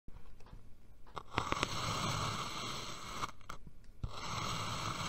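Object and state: Kinetic sand dome cut with a knife.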